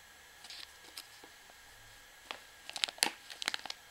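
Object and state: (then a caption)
Plastic washing powder pouch. A full white plastic pouch of washing powder is turned in the hand while long nails scratch and tap its surface. The plastic gives bright, dry crinkles and sharp clicks: sparse and quiet at first, then denser and louder clusters toward the end.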